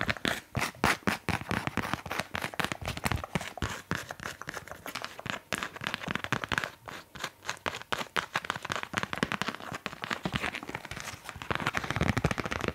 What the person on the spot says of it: 12:58 Tapping on cork coasters